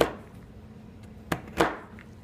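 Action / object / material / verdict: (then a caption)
strike / chalk stick cut with a steel knife / chalk / none. Solid green and pink chalk stick pieces on a white surface are chopped with the blade of a large steel kitchen knife. Three sharp chops, each with a short crunch and brief decay, ring out over a quiet background.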